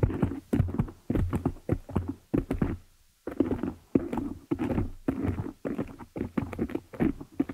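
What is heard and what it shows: Long nails scratch and tap both sides of the dark metal mesh grille on a hollow desktop condenser microphone. Bursts of muffled, thumpy taps and rough scratching run together with a boomy low-mid body, pausing briefly near the middle before resuming.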